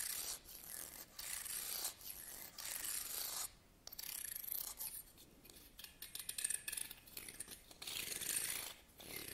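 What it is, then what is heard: Wooden comb. A small solid wooden hair comb is held in the hand while fingernails scratch and strum along its teeth. The result is bright, raspy bursts of rapid ticking with short pauses between strokes. The sound is quiet and thin, with almost no low end.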